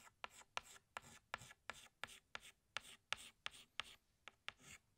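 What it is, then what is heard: Chalk stick on blackboard. A pink chalk stick retraces a small flower on a flat black chalkboard with rubbing strokes. Each of about 14 strokes starts with a sharp tap and fades into a short, dry, bright scratch, all at a quiet level.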